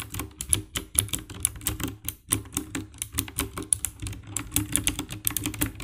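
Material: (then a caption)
Plastic. Both hands type with fingertips on the keycaps of a compact 60% black plastic mechanical keyboard with RGB backlight. A rapid, steady run of short, dry key presses follows, each with a low thock and a bright click that dies away almost instantly.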